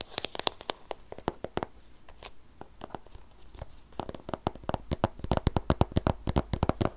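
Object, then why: Shrink-wrapped cardboard box. Fingertips and nails tap and scratch along the top and edges of a long, narrow white cardboard Apple Pencil box, still in its plastic shrink-wrap, closed and hollow with the pencil inside. A dense run of short, dry clicks and crinkly scratches sounds with a faint low hollow thump, growing busier and louder toward the end.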